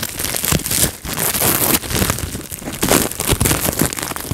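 Fingertips squeeze and pop bubbles on a clear plastic bubble wrap sheet, giving a dense run of sharp pops and crackles over continuous crinkling of the plastic. The bright, noisy texture fills the whole clip with short bursts and little ring.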